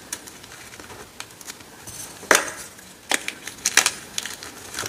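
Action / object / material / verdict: scrape / gym chalk blocks (magnesium carbonate) / chalk / none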